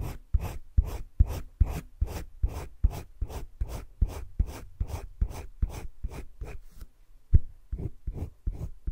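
A green colored pencil rubs dense shading strokes across flat cream drawing paper in a wire-bound spiral sketchbook. About twenty short, scratchy strokes repeat in a fairly steady back-and-forth rhythm, with a brief pause near the end before the strokes resume.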